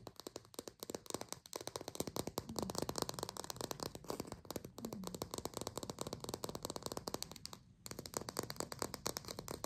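Long pink acrylic nails tap rapidly on the rind of a small green artificial plastic lime held in the fingers. The result is a steady stream of crisp, hollow plastic clicks with bright edges, a brief pause near the end, then more tapping.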